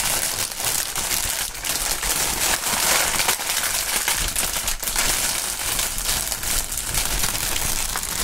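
A strip of clear polyethylene air-cushion packaging with green print and hollow inflated chambers is held and rubbed by the fingertips of fingerless-gloved hands. A steady, bright crinkling and rustling with dense crackly texture continues for about eight seconds at an even level, with little low end.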